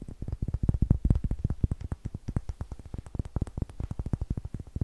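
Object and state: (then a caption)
Light wooden block. A small, solid block of pale wood with a green pad on one face is held in the hands in front of a TASCAM recorder and tapped and scratched with long fingernails. It gives a quick, steady run of about 38 dull, low, hollow knocks that stop dead with no ring.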